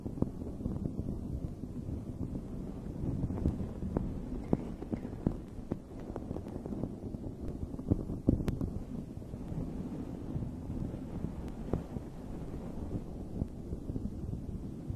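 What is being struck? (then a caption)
Fluffy fabric microphone cover. Long red nails scratch the top of a dome-shaped fuzzy fabric microphone cover while the other hand holds it steady. The result is a dense, muffled, low rumbling rustle throughout, broken by many faint, sharp ticks and a few louder scrapes.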